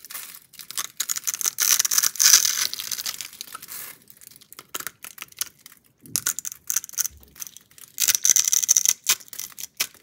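A box-cutter blade is drawn across a palm-sized, solid reddish-pink bar of soap with a scored, cube-cut face, held in one hand, scraping and cutting off small cubes. Dense, bright, crisp scraping and crackling comes in bursts, loudest early on and again near the end, with quieter, sparse clicks in between. The sound is almost entirely high-pitched, with no low body.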